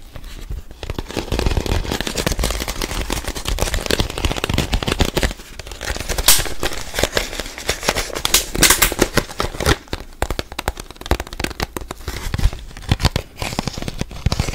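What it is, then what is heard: Plastic water bottle. A clear, thin, mostly empty plastic water bottle is crinkled and tapped with the fingertips while held up close to the microphone. A dense, continuous stream of sharp crackles and crinkling snaps fills the clip, with a few brighter, louder pops standing out over a low handling rumble.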